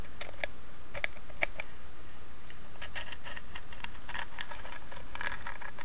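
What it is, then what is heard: Carved wooden box. Long nails tap and scratch across the carved lid of a small, hollow carved wooden box. Light, bright clicks and dry scratching rustles come in quick irregular bursts over a steady low hum, staying soft and even throughout.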